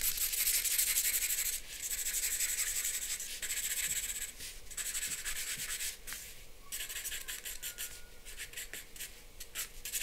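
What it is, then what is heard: Charcoal pencil hatching on drawing paper. A charcoal pencil is rubbed across a flat white drawing paper sheet in rapid hatching strokes. The result is a dry, bright, scratchy hiss that pulses at roughly four strokes per second, with brief pauses between bursts.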